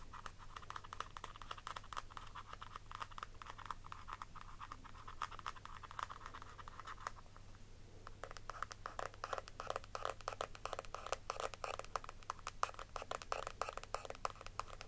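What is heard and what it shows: Long nails rapidly scratch the raised floral embossing on the lid of a palm-sized, round, pink-pearl metallic plastic cushion compact with a hollow case. The result is a dense run of quick, dry scratching ticks with a nasal mid-range tone around 1.2 kHz and bright edges. The scratching eases briefly around the middle, then resumes faster and louder.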